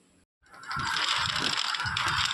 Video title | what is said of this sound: गेहूं के आटे की बेहद खस्ता, हेल्थी मीठी मठरी बनाने का आसान तरीका🤗😋 | आपको इनकी आवाज से पता चल ही रहा होगा कि हमारी मठरियां कितनी क्रंची बनी हैं